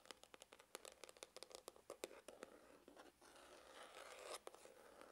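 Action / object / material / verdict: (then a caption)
scrape / faux leather hard glasses case / faux leather / none. Fingernails scratch the rounded side of a hollow, dark grained faux-leather hard glasses case with a red emblem. A quick series of short, crisp, bright scratches comes first, then it blends into a steadier, continuous raspy scraping with little low end.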